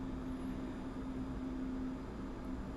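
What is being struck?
Nothing is struck.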